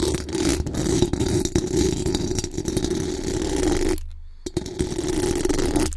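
Long acrylic nails scratch the hollow metal mesh grille of a bare microphone with fast strokes from both hands. The result is a dense, continuous rasping scrape with a strong low-mid body and many rapid clicks. It drops away briefly near the four-second mark, then resumes just as busy until the end.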